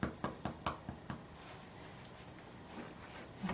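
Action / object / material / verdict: tap / baked bread loaf / bread / hollow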